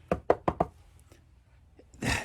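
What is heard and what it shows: Four quick, short, solid knocks on the wood-paneled wall under the window inside a cabinet of a 1999 Wildwood 27RKSS fifth wheel RV, tapped to check for water damage. A few faint ticks follow, then a brief broadband rustle. The knocks die out quickly with no hollow ring, and the wall is solid with no structural issues.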